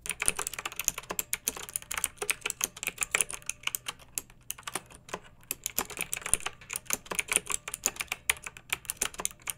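A pink backlit plastic mechanical keyboard with round keycaps is typed on continuously by fingertips with long nails. The result is a rapid stream of sharp, bright plastic clicks and clacks with very short decay and little low end. The tapping briefly thins out around the middle before picking up again.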